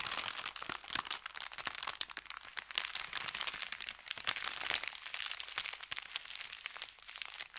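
An empty, flat, thin kraft paper bakery bag is pressed and rubbed with the fingertips of both hands, crinkling it. Dense, bright crackles and crunches run continuously with almost no low end, in uneven bursts that swell and fade across the clip.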